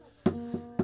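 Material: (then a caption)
Wood. Knuckles knock three times on the wooden body of an acoustic guitar, each giving a short hollow "kon-kon" thud that rings briefly with a low tonal resonance. The body's knock tone is said to match about 426 Hz, which is why A was tuned to 426 Hz at a live show so the strings would resonate with the body.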